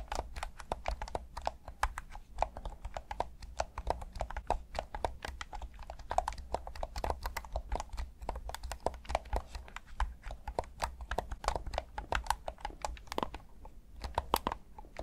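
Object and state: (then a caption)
Plastic game controller buttons. A hand-sized, hollow black plastic PS5 DualSense controller in Midnight Black has its face buttons pressed and clicked by thumbs. Rapid, dense short clicks with a bright, woody tap around 900 Hz sound over a steady low hum, each click dying almost instantly.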